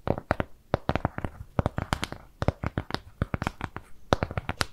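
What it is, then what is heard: Cardboard piece. Long nails scratch and tap on a flat, round, brown kraft cardboard shape with jute trim. The result is a rapid, irregular run of short, dry taps and clicks, with bright crisp edges over a soft low thud. A faint scratchy rustle fills the gaps between them.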